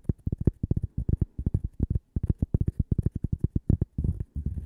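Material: Cork.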